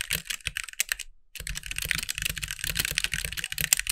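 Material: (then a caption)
Plastic. Fast two-handed fingertip typing on a compact backlit mechanical keyboard with white plastic keycaps. Bright, dry plastic clacks with almost no ring come in a rapid, uneven stream. The typing stops briefly around the one-second mark, then resumes as a steady, dense patter to the end.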